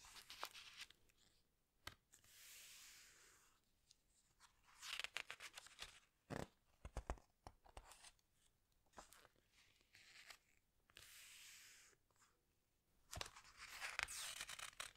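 Fingertips and long nails squeeze and rub the glossy paper pages of a large open hardcover book, then turn a page. Soft, bright crinkling and swishing rubs alternate with sharp clicks and taps from the nails, with quiet gaps between.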